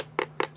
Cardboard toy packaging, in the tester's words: This whole thing feels really just cheap and hollow. It's like it's got just a ton of empty space inside of it.